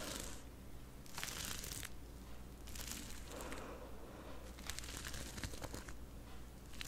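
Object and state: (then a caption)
Rhinestone-covered fabric face mask. Both hands with long purple-painted nails scratch and rub a soft, hollow light blue fabric face mask, worn on the face and covered in small Swarovski crystal rhinestones. Bright, gritty scratching and crinkling comes in repeated bursts, clicking as the nails drag over the stones, above a steady low hum.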